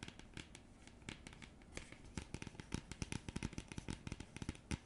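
Long nails scratch and tap across the printed surface of a thin, flat, round cardboard coaster. Quiet, dry papery scratching runs throughout, broken by many sharp, crisp taps that grow more frequent and louder in the second half. Each tap stops almost instantly with no ring.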